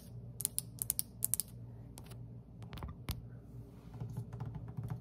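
Long pointed acrylic nails on one hand tap across a large, solid terracotta-tiled tabletop with dark grout lines. Sharp, bright clicks come in a quick cluster at first, then space out into scattered taps. A steady low hum runs underneath.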